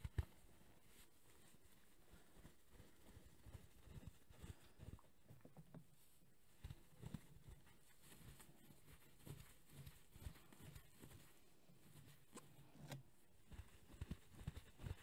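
A soft-filled, grey velour-covered travel neck pillow is held close and rubbed, scratched with fingertips and squeezed. This produces quiet, muffled, low-pitched thumps and soft fabric rustles with occasional faint bright scratchy flicks. The sounds come in uneven bursts throughout.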